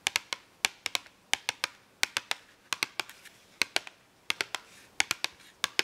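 Long acrylic nails tap and scratch on an open cardboard marker box full of markers, producing a quick, uneven series of about two dozen sharp, dry clicks. Each click is bright and very short with almost no low end, and faint scratchy rustling is heard between the taps.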